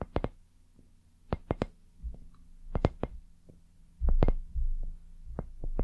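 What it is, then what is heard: Silicone dumpling lamp. Long nails tap and scratch a palm-sized, soft white silicone lamp shaped like a dumpling, which is hollow. Sharp, quick taps sound over a low, muffled hum, and broader scratchy rustles swell near the end.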